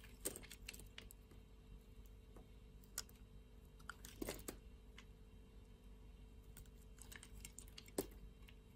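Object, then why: Bar of soap shaved with a blade. A utility-knife blade shaves thin layers off a flat slab of light-blue soap, producing quiet, dry scraping and crisp clicking ticks. Sharper snaps at about 0.3, 3.0, 4.3 and 8.0 seconds stand out over a low, steady background hum.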